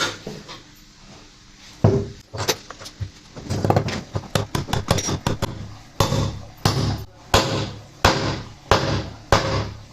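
A steel ball bearing in the drum housing of a Bosch washing machine is hammered in on the other side until it sits with no gap. A series of sharp metallic strikes with a low thud and brief ring grows firmer toward the end, and that sound shows the bearing is fully seated.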